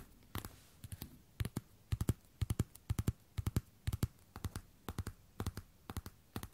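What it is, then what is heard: Platform boot toe caps tapped with fingernails. Long red and black nails tap and scratch the hard toe caps of a worn pair of black glossy patent platform boots resting on a wooden floor, beside a binaural microphone that is not touched. Dozens of short, dry taps land in quick, uneven clusters, each with a low thump and a bright click that dies away at once.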